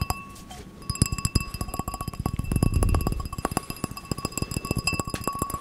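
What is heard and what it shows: Fingertips and nails tap a small, empty, clear drinking glass with a gold rim as it is held and turned, making a run of quick, ringing clinks. Soft low thumps sit beneath bright, steady glass tones, and the taps come in fast bursts and slower patches.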